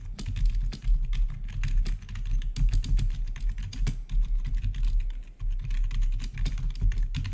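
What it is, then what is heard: Plastic gaming keyboard being typed on. Fingertips of both hands rapidly press the keys of a full-size black plastic backlit RGB gaming keyboard with a hollow housing, recorded close up. It produces a dense, steady stream of quick clacking taps with a deep, hollow low thump beneath short bright edges, each tap dying away quickly.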